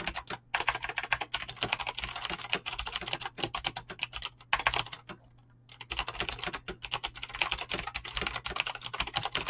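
Fingertips with short painted nails type fast on a full-size mechanical keyboard with Razer green clicky switches and pink-blue PBT plastic keycaps, resting on a desk. A dense, rapid stream of sharp, bright clicks and clacks dies away instantly, with a brief pause just past the middle before the typing resumes. A faint steady low hum runs underneath throughout.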